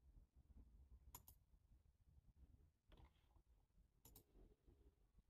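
Fingertips with short nails tap the keys of a black, low-profile plastic computer keyboard with a hollow body. Sparse, short, bright clicks come in small clusters over a quiet, low rumbling background, each tap dying away almost instantly.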